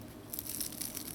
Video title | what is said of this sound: Guava Jam Tart / Guava Cheese Tart Recipe / Pastelito - Episode 178 | cut into one and show you all how crispy it is